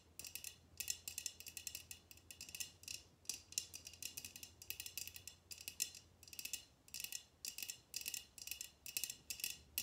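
Long red-painted nails tap a tall, clear, empty glass tumbler held upright in both hands. Quiet, rapid bursts of bright, clicky taps come in repeated clusters, each dying almost instantly with no lingering ring. A faint low hum sits underneath for the first part of the clip.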